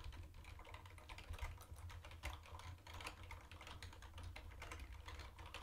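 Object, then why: Plastic keyboard with round plastic keycaps. Fast two-handed fingertip typing on a mint-green plastic retro keyboard with round white plastic keycaps. A dense run of quick, clacky plastic keystrokes rides over a steady low hum, with a few louder taps standing out.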